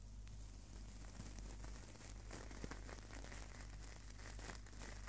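A small, hollow-mesh stainless steel wire scouring pad is squeezed and crumpled between the fingertips close to the microphone. It gives a quiet, continuous crinkling and crackling with irregular bright metallic ticks over a steady low hum.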